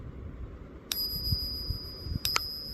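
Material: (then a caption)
Silver. A 90 percent silver Kennedy half dollar is flicked three times, each flick giving a sharp ping and a high, clear ring that sustains between strikes over a low background rumble. The bright, lasting ring marks it as a real 90% silver coin, and a bigger silver coin like this half dollar rings louder.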